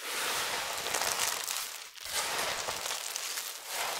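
Starch-covered hands dig into a heap of thin, brittle amber soap flakes mixed with starch powder, squeezing handfuls and rubbing the flakes together. A steady, bright crinkling and crackling runs throughout, with a brief dip in loudness around the midpoint before the crunching resumes.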